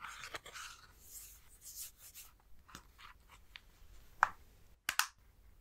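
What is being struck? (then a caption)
Plastic handheld game console back shell. A plastic Nintendo Switch handheld console with its Joy-Cons attached is turned over so the back shows, and the rear plastic shell is tapped and scratched with fingertips. Soft, bright scratchy rustling fills the first couple of seconds, then gives way to scattered crisp, dry plastic taps that stop short with no ring. The sharpest taps come near the end.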